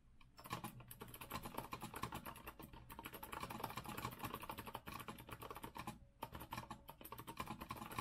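Fingertips type steadily on an Azio rose-gold retro mechanical keyboard with a metal frame and round plastic keycaps. The result is a dense, continuous stream of short, crisp clacks, broken by a few brief pauses between bursts.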